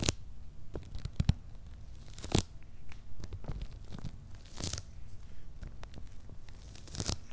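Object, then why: Corrugated cardboard box with paper label. Fingernails scratch and fingertips rub over the paper shipping labels on a medium, closed, hollow corrugated cardboard shipping box. Dry, papery scraping and tearing-like rasps come in short bright bursts over a low, hollow rumble, with quieter rustling in between.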